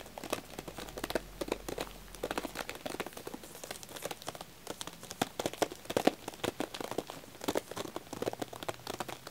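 Fingertips and nails tap and scratch the shrink-wrapped plastic over a pack of green wax tealights in aluminum cups with a paper label. Dense, rapid crinkles and sharp little taps continue throughout, each dying away almost instantly, with a bright rustling texture centered in the low-mid range.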